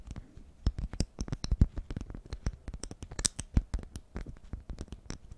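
Long nails scratch and tap a honeycomb-print beeswax cloth food wrap held in the hands, making a quick, uneven run of dry scratches and crisp taps. Each sound is short with almost no ring, over a soft low rumble, with some bright crackly edges.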